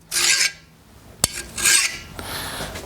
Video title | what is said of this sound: Dirty Smith ep 31 Part 2: Forging and Heat treating a cold chisel | It's just sliding right off, especially the back.